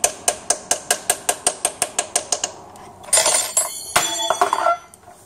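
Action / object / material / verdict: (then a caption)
tap / rubber and metal oil seal in a metal transmission housing / metal / seated. A new rubber-and-metal oil seal is tapped into the metal flange of a 5L40E automatic transmission extension housing with a hammer, using an old machined piston as a driver. A steady run of sharp, ringing metallic taps gives way to a brief quiet stretch and then louder clattering clinks. The seal ends up fully seated, sitting up to its chamfer rather than flush.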